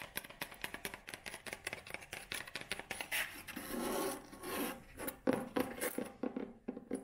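Long nails tap quickly across the brown cover and tan spine of a thick, solid leather-bound hardcover book, making a steady run of dry, sharp clicks. Midway the tapping blurs into a brief scratchy rubbing, then returns to crisp, separate taps with almost no ring.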